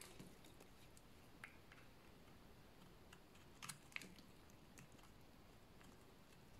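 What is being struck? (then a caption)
Bar of soap scraped with a blade. A solid oval bar of dry white soap, held in the hands, is scraped with a utility blade to make curled shavings. Quiet, crisp scraping ticks and brief bright clicks sound over a low background hum, with the sharpest cracks near the middle.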